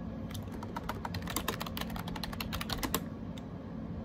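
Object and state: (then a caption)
Plastic keyboard being typed on. Fingertips type rapidly on a gray AJAZZ 308i wireless Bluetooth keyboard with round plastic keycaps. A steady stream of short, bright, crisp clicks and clacks sits over a low background rumble, fading to a few scattered taps at the end.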